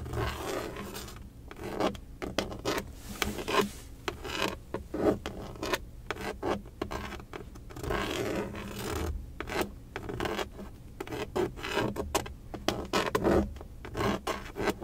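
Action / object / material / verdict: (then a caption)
scrape / plastic steering wheel center cover / plastic / none. Long acrylic nails from both hands scratch and tap the black plastic airbag cover at the center hub of a car steering wheel, around its emblem. Dense, raspy scratching is broken by many quick, light clicking taps throughout the clip.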